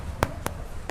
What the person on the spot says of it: Bunyi hollow, bunyi kosong. Okey, tu dia masak.